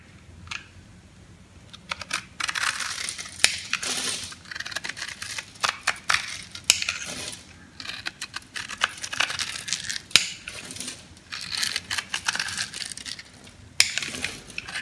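A metal knife scores a grid into a solid, hand-sized yellow bar of dry soap held in the palm, then slices off small crunchy cubes that fall onto the table. Bright, dry crunching and crackling scrapes come in bursts, with sharp clicks and little low end. Each sound dies away almost instantly.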